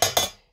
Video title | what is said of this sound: Full HD receiver km price Me Star trak ( st 5300) tamam tr satellite c band k u band ok | ऊपर वाले भी आवाज से पता चला प्लास्टिक नहीं है